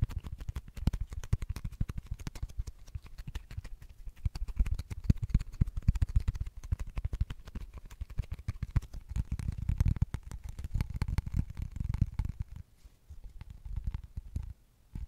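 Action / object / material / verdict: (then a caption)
tap / cork-backed coaster with printed face / cork / none. Long nails rapidly tap and scratch the printed face and edges of a small, flat, square cork-backed coaster with a fish pattern, held up close to the mic. The result is a dense, fast stream of short, dull, low thuds with soft scratchy texture and almost no ring.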